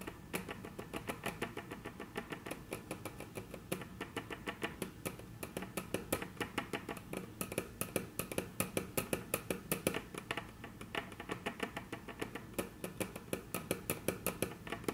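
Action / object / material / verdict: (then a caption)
tap / wooden tabletop tapped with long fingernails / wood / none. Very long natural nails tap rapidly on a flat, solid, dark brown wood-grain tabletop. The result is a continuous stream of crisp, dry clicks that die out almost instantly, with a bright edge over a steady low hum.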